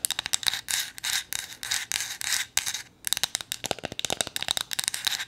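Long nails scratch and rub a small, solid, flat painted wooden gnome figure, giving a dry, rasping sound. Quick, sharp scratches give way to longer strokes of bright, hissy rubbing, then return as a rapid run of crisp taps and scrapes. Nearly all the energy sits high, with a steady tone near 3.8 kHz and almost no low end.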